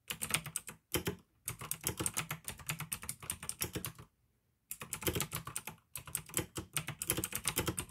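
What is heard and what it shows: Fingertips type fast on the keycaps of a full-size pink plastic AUKEY mechanical gaming keyboard with RGB backlight, clicky blue switches and a hollow case. Bursts of sharp, bright clicks with a low hollow clack underneath run in rapid strings. The typing stops in brief pauses near one second and for a longer silence around four seconds, then resumes.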